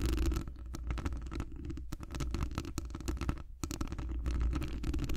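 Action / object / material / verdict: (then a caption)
scrape / metal wire-mesh microphone grille / metal mesh / none. Long acrylic nails scratch a hollow metal wire-mesh microphone grille while the fingers stay wrapped around it. The result is a dense run of fast, crackly scratches and clicks over a heavy, muffled low rumble, with a brief drop-off just past the midpoint before the scratching picks back up.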